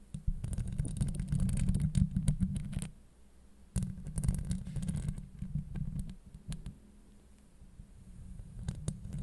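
Long acrylic nails scratch and tap a hollow steel mesh microphone grille, producing a deep, muffled rumbling scrape with quick bright crackles and ticks on top. The scratching comes in dense bursts, pauses briefly near three seconds, returns strongly, then continues more softly with scattered taps to the end.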